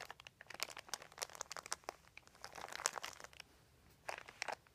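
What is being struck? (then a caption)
Thin plastic sheet. Fingertips scratch and crinkle a large, thin, white crumpled plastic sheet lying on carpet. The result is a dense run of sharp, bright crackles and crunches with almost no low end. The crinkling thins briefly before a final burst of crackling.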